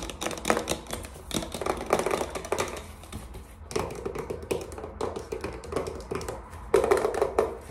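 A white plastic watercolor palette with round paint pans, a thin hollow case with a label on the back, is held in the hand while fingertips and short nails tap fast on the plastic lid and the paint pans, then on the flat back. The rapid, light taps make dense, clicky, hollow plastic knocks with a mid tone, and a louder flurry comes near the end.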